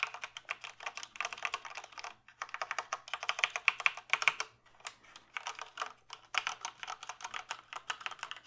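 Fingertips tap and type on the keys of a full-size black plastic mechanical keyboard with a hollow case. Rapid bright, clacky keystrokes come in bursts separated by brief pauses, with a faint steady low hum underneath.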